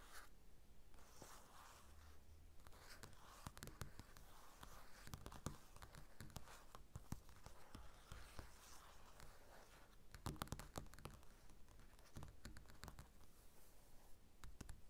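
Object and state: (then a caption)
Glossy paper magazine. Fingertips and nails scratch and tap the glossy cover of a closed paper magazine lying on a table. Quiet, soft scratching runs throughout, broken by many short, crisp taps that die away almost instantly, over a steady low hum.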